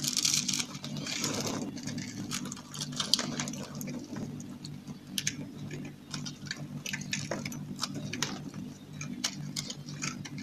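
A small metal knife scrapes and cuts into a dry, solid, palm-sized lavender soap bar that is pre-scored into a grid, and the cubes crumble off. Dense, bright crunching and crisp ticking clicks run throughout over a steady low hum, and each crackle stops dry and short.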